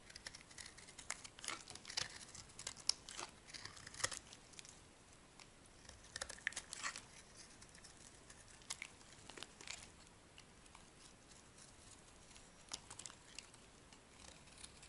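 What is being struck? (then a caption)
Soap bar scraped with a metal blade. A metal blade carves and scrapes a solid, dry, soft white bar of soap. Many quick, bright, crisp scrapes and crumbly crackles come in quiet bursts with almost no low end and no ring, tapering to sparser strokes later on.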